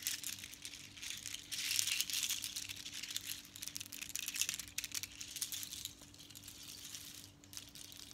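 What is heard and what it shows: Long strands of small hollow seashells strung with small colored beads, worn around the neck and lifted in the hand, are rattled and shaken by long nails and fingertips so the shells clack together. The result is a quiet, dense, irregular stream of bright clicks and crinkly rattling over a faint steady low hum, swelling louder in bursts and then easing off toward the end.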